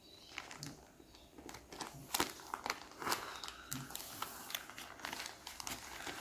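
A flat frosted plastic zip-lock bag holding a folded T-shirt, lying on a wooden table, is pressed, rubbed and crinkled by fingertips across its surface and zipper edge. The result is a quiet run of bright, crackly plastic crinkles with many short rustling bursts and very little low end.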